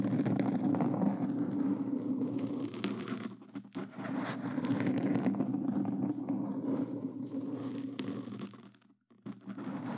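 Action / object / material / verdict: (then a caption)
scrape / foam microphone windscreen / foam / none. Hands in black claw gloves with plastic fingertip claws scratch continuously at a black foam windscreen over a Blue Yeti microphone. The result is a dense, muffled, crackling scrape with a low, boomy body. It eases briefly around 3.5 seconds and nearly stops just before 9 seconds, then picks up again.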